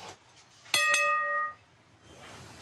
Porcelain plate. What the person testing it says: l'ultime contrôle qualité ça sonne bien